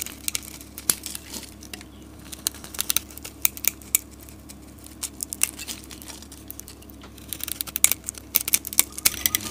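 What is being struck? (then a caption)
Bar of soap cut with a metal blade. A metal utility blade shaves a solid green soap bar, curling flakes off it. The shaving makes bright, dry crackling and crisp scraping ticks in irregular bursts, quieter through the middle and densest toward the end. A faint steady low hum runs underneath.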